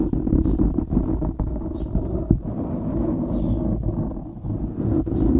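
Fingertips and short nails of both hands scratch a soft, porous black foam windscreen on a microphone. The result is a dense, continuous muffled rustling and rumbling, mostly deep and low-pitched with almost nothing bright, and a few slightly sharper scrapes along the way.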